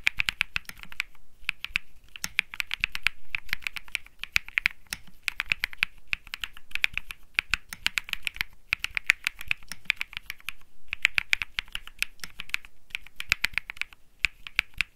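Fingertips type rapidly on the plastic keycaps of a compact Think 6.5 mechanical keyboard with Bsun Lollipop switches, an aluminum case and a PC plate, resting on a felt mat. Dense bursts of short, bright clacky keystrokes centered around 2.3 kHz are separated by brief pauses, each click dying away almost instantly.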